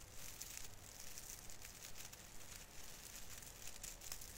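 Fingertips rub and pinch the plastic needles on the branches of a small artificial fir Christmas tree. The result is a steady, quiet stream of dry crinkling and rustling with bright, high crackles and a low rumble underneath.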